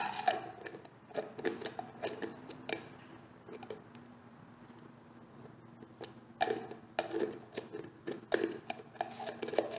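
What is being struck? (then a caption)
Plastic jar with screw lid. Long painted nails tap, scratch and twist the white screw lid of a medium, hollow plastic cosmetic jar with an orange label, held in one hand. Quick, dry, hollow clicks come in bursts, with soft scratching and a quieter stretch in the middle. The taps grow busier again toward the end.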